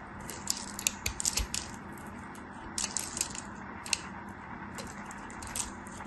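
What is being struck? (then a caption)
Bar soap carved with a metal knife. A metal craft knife carves and scrapes the edges of a solid, dry, hand-sized white bar of soap into crumbs while long white nails hold it. Clusters of crisp, bright crackling and scratching snaps come in bursts over a steady low hiss, with crumbs breaking away.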